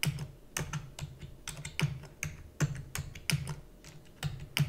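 Fingertips with long natural nails rapidly press the keys of a black full-size plastic computer keyboard with hollow key housing. The result is a quick, uneven stream of short, dry clacks, each with a hollow low thud and a bright click of nail on key. Every keystroke dies away almost instantly.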